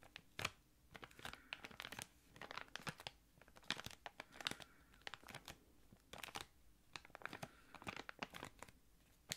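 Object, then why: Thick clear plastic bag. A small, thick clear plastic packaging bag holding a card and an item is crinkled with the fingertips. It makes quiet, bright crackling and crinkling in irregular, quick bursts, with short gaps between the handlings.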